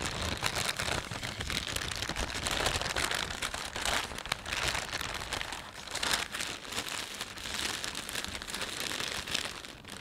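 Fingers fold and rub the film of a thin, empty plastic panda shopping bag. This produces a dense, continuous crinkling that is bright and crackly, with a steady level and gentle swells and dips throughout.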